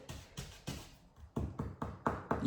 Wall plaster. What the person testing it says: You can hear that it's hollow behind it.